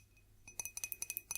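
A classic drinking glass is tapped in a quick, uneven series of light clinks. Each tap is bright and high-pitched, with a very short ring over a quiet background.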